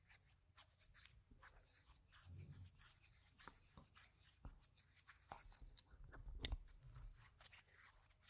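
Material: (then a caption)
Plastic. Small stacks of solid round plastic game gem tokens are held in both hands while fingers shuffle and click them together. Quiet, dense clicks and crisp ticks run throughout, with soft low rumbles of handling underneath and a few sharper, louder clacks standing out.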